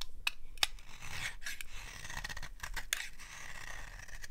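A palm-sized solid bar of dry orange soap, held in a hand with long-nailed fingers, is scraped and shaved with a small metal blade. Crisp, dry scraping strokes with sharp, bright snips and crackles come over a low, steady rumble. Thin shavings are carved off the bar.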